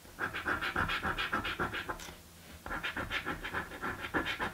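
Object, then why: Paper scratch-off lottery ticket scraped with a coin. A coin scrapes the scratch-off panels of a blue paper birthday lottery scratch card in quick, rhythmic back-and-forth strokes, giving a raspy scratching with a bright edge. The scraping stops briefly near the middle, then resumes at the same steady pace.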